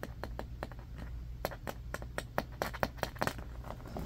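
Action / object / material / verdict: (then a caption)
scrape / small bamboo hairbrush with bristles / bamboo / none. Fingernails quickly scratch the bristles and tap the wooden back of a small striped bamboo hairbrush held in both hands above a carpet. A fast, uneven run of short, dry clicks and scratchy taps dies away almost instantly over a steady low hum.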